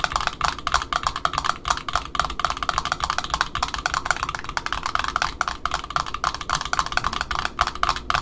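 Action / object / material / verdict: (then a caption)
tap / cardboard end disc of a ribbon spool / cardboard / none. Long fingernails on both hands tap rapidly on the cardboard end disc of a black Offray ribbon spool resting on a table, with a larger spool nearby. The result is a fast, continuous run of dry, hollow clicks with a woody tone around 1.4 kHz and almost no ring after each tap.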